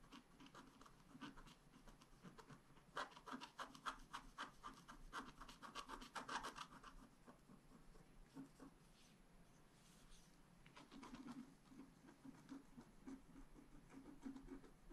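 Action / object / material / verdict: scrape / scratch art paper sheet scratched with a wooden stylus / coated paper / none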